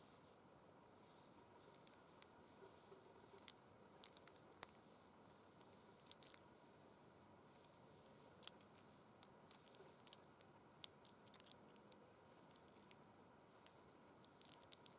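Long pointed red acrylic nails scratch and tap across a pair of empty burgundy faux suede gloves with small sequin stripes, made of soft, thin fabric and lying flat on a glittery cloth. A quiet, steady bright hiss of soft scratching runs throughout, broken by many sharp, dry, high clicks that stop instantly with no ring.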